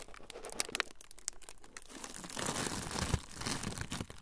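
A thin, clear plastic film sheet is crumpled by both hands in front of the microphones. Bright, dry crinkling and sharp crackles come in quick bursts, then thicken into a denser, louder rustle in the second half, with a sharp crunch near the peak before easing off.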